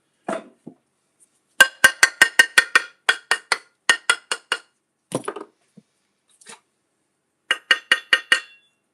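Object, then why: Hard sheet stock. A piece of hard sheet stock about a quarter inch by five by twelve inches is tapped repeatedly, giving short, bright, glass-like clinks with a pitch around 1.6 kHz and almost no ring. The taps come in quick irregular bursts, with a few softer duller knocks between them. The material throws sparks and dulls a bandsaw when cut.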